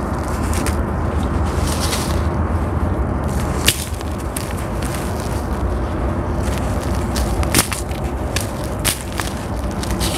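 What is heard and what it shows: Two hands wearing gold bangles dig and scratch with their fingers into a large grey sand-cement mound that is solid and crumbly, pulling off chunks and crumbling them so powder falls. A steady, low-heavy gritty scraping and rustling runs throughout, broken by sharp, bright crackles as pieces snap and break away.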